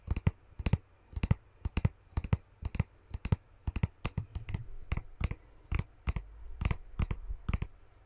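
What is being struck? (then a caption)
Small plastic tub of slime. A small clear plastic tub with a printed label, full of green slime, is held in one hand and tapped rapidly with fingernails, making a quick series of sharp, dry clicks with a low, hollow thump beneath each. The taps stop dead almost instantly with no ring. Toward the end the tub is moved near the microphone, and a low rumble grows under the clicks.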